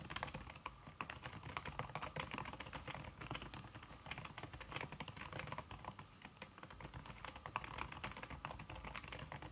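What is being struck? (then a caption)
Aluminum keyboard with silicone key cover. Fast typing with fingertips and red-painted nails on a slim, backlit aluminum keyboard whose keys are covered by a red silicone skin. A dense, steady stream of soft, muted key taps with a faint, bright click. Each tap stops almost instantly, and the typing stays quiet and even throughout.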